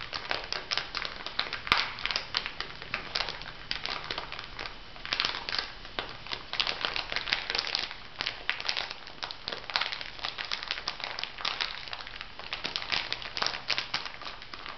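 Hands squeeze and crinkle a small clear plastic bag filled with white granules. The result is a steady stream of bright, crackly crinkling in dense overlapping bursts, with little low-end weight and no pauses.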